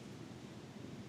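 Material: Nothing is struck.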